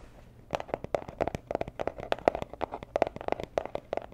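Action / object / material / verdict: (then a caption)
tap / small rigid cardboard box / cardboard / none. A small, hollow, rigid teal cardboard jewelry gift box in Tiffany style is held in the hands and tapped and scratched with long nails. It makes a quick, irregular run of crisp, dry clicks with a hollow mid tone that stop dead, with light scratchy texture between the taps.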